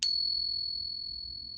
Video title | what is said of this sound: David Cross Authenticating Your Silver | is 90% silver, 10% copper, and it kind of rings a little bit like a bell